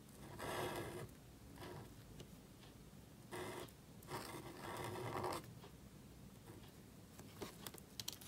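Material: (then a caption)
Cardstock. A calligraphy marker nib strokes and scratches across a small, thin black cardstock card resting on a table while writing. Several bursts of dry, papery scraping come and go, with a few light ticks of the nib near the end.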